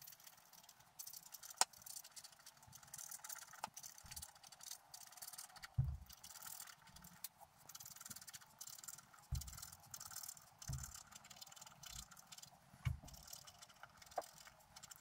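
A wooden stylus scratches the coating of a flat black coated scratch-art paper sheet lying on a table. Quiet, bright, scratchy hiss comes in uneven bursts, with sharp little clicks and soft low thumps between strokes.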